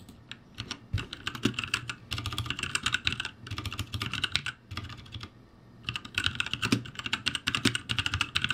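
Both hands type rapidly with their fingertips on a backlit ROCCAT G65 mechanical keyboard with plastic keycaps. Dense bursts of bright, sharp clicks and clacks carry a low thock underneath. A short pause around the middle breaks the typing before it resumes.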